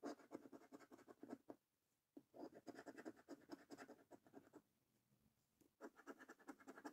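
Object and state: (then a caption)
Scratch card being scratched with a coin. The edge of a coin held in the fingertips scratches the scratch-off coating from a thin, flat £5 Snack Stack paper lottery scratch card lying on a dark wooden table, while the other hand holds the card steady. Quick, dry, rasping strokes come in three bursts separated by short quiet pauses, with a bright, papery grain throughout.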